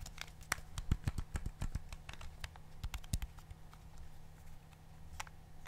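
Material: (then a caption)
Plastic. A fingertip or thumb repeatedly presses the colored rubber buttons on a black plastic TV remote held in the hand. It makes a quick, uneven run of short, dry clicks, each with a bright tick over a soft, dull thump. Beneath the clicks runs a faint, steady low hum.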